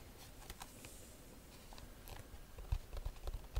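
A round, hollow, rigid woven rattan bag is held in both hands and tapped and scratched on its woven face with long nails. Faint dry scratching gives way to about nine soft, dull taps with a low hollow thump and brief bright clicks that die away almost instantly.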